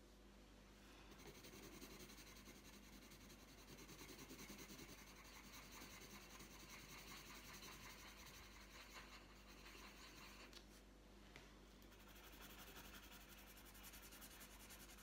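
A green wooden coloured pencil tip rubs back and forth across a thin, flat printed paper colouring sheet lying on a tabletop. The result is a continuous soft, papery scratching with a steady rasp that stays bright and even throughout, over a faint low hum.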